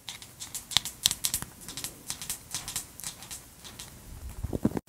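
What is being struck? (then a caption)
Wooden paddle hairbrush with plastic bristles. Long acrylic nails scratch and flick across the dense black plastic bristles of a large wooden paddle hairbrush, the bristles set on a cushion, held close to the mic. A quick run of bright, crisp ticks and scratchy rasps comes in uneven bursts, each snap dying almost instantly, with a few louder flicks standing out. A softer, lower brush sound comes near the end before the clip cuts off.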